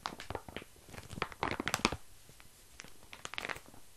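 A flat, crinkly, yellowish plastic-wrapped snack package about hand size, with what looks like grated or flaky filling inside, is held in the hands while fingertips and short nails scratch and squeeze the wrapper. The result is quiet bursts of bright crinkling and crackling, with sharper, louder crunches in the middle and lighter scratching around them.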